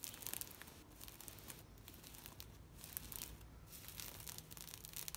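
Long nails and fingertips scratch and rub across a thin, taut green woven plastic mesh shade net. The result is a quiet, continuous bright scratching and crinkling texture with brief sharper ticks, over a faint steady low hum.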